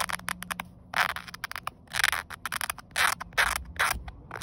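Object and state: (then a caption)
Woven polyester seatbelt webbing. A fingernail rubs and scratches along the ribbed weave of a grey woven polyester car seatbelt strap, a flat fabric band lying in sunlight. It makes a quick series of short, dry, scratchy bursts, broken up by a few longer and louder rasping strokes. The sound is bright and hissy, with almost no low end.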